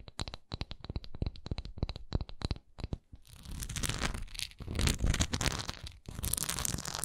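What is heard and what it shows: Long nails scratch a solid, textured wax pillar candle, first working over its smooth base while it is held tilted, then over its textured sides with it held upright. The sound opens with quick, separate scratchy strokes with bright clicky edges and a low thump, then turns into dense, continuous rasping and scraping that briefly pauses near the end before resuming.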